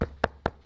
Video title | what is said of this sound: Hochanda TV - The Home of Crafts, Hobbies and Arts Live Stream | That feels like wood in there. I can't even bend it. You can hear me knocking on it.